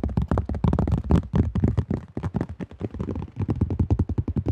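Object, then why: Thin plastic disc golf disc. Fingertips and nails rapidly tap and grip a cream AGL plastic disc golf disc with a thin shell, close to the mic. A fast, uneven run of dull, hollow thuds, heavy in the low end with short decay, is broken by brief brighter clicks and light scraping from the nails.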